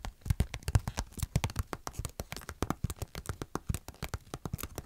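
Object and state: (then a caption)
Paper sticker sheet. A thin glossy paper sheet of cartoon stickers is held flat in both hands while long nails scratch and tap across its surface. About thirty quick, dry taps and scratches land in a steady run, each a soft low thump with a crisp papery click that dies away almost at once.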